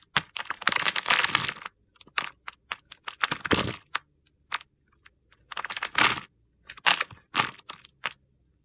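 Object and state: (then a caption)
Bar soap being carved. A solid white bar of soap held in the hand is scored and shaved with a utility knife blade, and small crumbly cubes of soap fall away. Bright, dry crunching and crackling scrapes come in short bursts and longer gritty runs with brief pauses between them.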